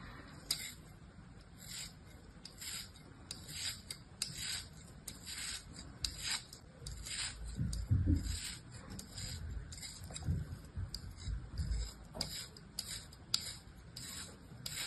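A small piece of beige kinetic sand held on the fingers is sliced repeatedly with a thin orange-handled blade. Each cut makes a short, dry, rubbing scrape with a bright, hissy edge over a soft low rumble, with the cuts thickest and loudest around the middle of the clip.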